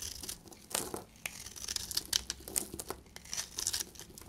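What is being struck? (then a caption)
Bar of soap shaved with a blade. A solid, dry beige bar of soap held in the hand is shaved with a utility knife blade, so powdery crumbs fall off. The blade makes a series of dry, crisp scraping and crackling strokes, bright and high-pitched, each ending quickly with almost no ring.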